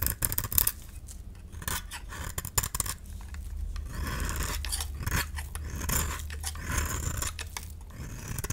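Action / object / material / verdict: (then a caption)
scrape / painted dry soap bar scraped by a metal blade / soap / none. A metal utility-knife blade scrapes and shaves curls off a solid, palm-sized cream soap bar with a red painted coating, held in the hand. The result is a steady run of dry, crisp scraping and shaving strokes with bright high edges and short, sharp cuts.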